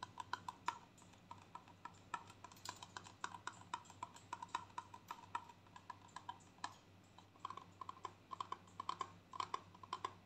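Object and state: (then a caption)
Plastic conditioner tube. Long painted nails tap rapidly on a small gold squeezable plastic tube, hollow and containing conditioner, held in the hands. The result is a steady stream of dozens of quick, dry clicks with a hollow ring near 1 kHz and a bright tick on each tap. Each click dies away almost instantly over a faint low hum.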